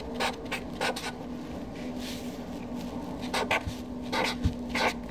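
A Sharpie felt-tip marker writes names on a flat white paper sheet resting on a desk. The tip scratches across the paper in short, bright bursts of strokes, separated by brief pauses, over a faint steady hum.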